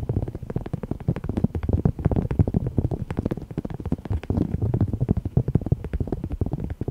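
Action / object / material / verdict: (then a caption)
tap / thin cork coaster / cork / none. Fingernails tap and scratch the surface of a thin, solid, heart-shaped cork coaster printed with "love", about 10 cm across and held in both hands. A dense, rapid stream of soft, dull taps and scratchy rustles continues throughout, heavy in the low range with almost no bright edge. Each tap dies away almost instantly.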